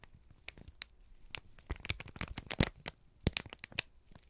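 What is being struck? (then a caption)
Kraft paper sheet. A folded, crinkled brown kraft paper sheet is held in both hands and squeezed and rubbed with the fingertips. The result is a dense run of dry crinkles, crackles and sharp tearing-like snaps. The snaps come in irregular clusters, with a few louder, bright cracks standing out over a soft rustle.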